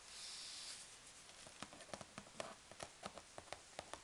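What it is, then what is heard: Cardboard box. A large corrugated cardboard box is closed over packing peanuts, giving a soft, bright rustle at first. Long dark nails then tap on the folded cardboard flaps, making a quick series of sharp, dry clicks with a slight hollow ring.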